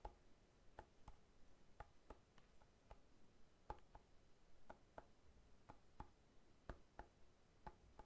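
A whole fresh pineapple, solid with a hard scaly rind, is held on its side and tapped repeatedly with the fingertips. Seventeen soft, short, dull taps land at an uneven pace, each with a low thump and a brief hollow knock. The taps die away almost instantly, with faint background noise between them.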